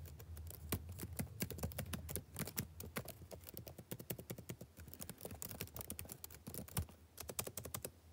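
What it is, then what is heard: Laptop keyboard being typed on. Fingertips type rapidly on a black plastic backlit laptop keyboard, making a dense, steady stream of short, dry key clicks with bright, crisp tops. A low hum sits underneath, and the typing is a bit louder in the first couple of seconds before settling slightly softer.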